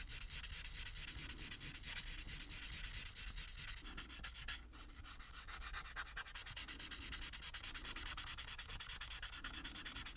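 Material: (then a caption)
Paper. The felt tip of an upright plastic marker rubs quickly across a thin printed paper coloring sheet lying flat, making a bright, scratchy swishing in rapid back-and-forth strokes. The strokes pause briefly around the middle after a sharper scrape, then resume at the same fast, steady pace.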